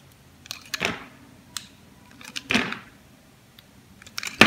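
A palm-sized, solid red oval bar of soap is held in hand while a metal utility blade carves thin slices off its surface. Short, bright scraping cuts come in uneven bursts, a few of them longer and fuller, ending in a sharp, louder cut.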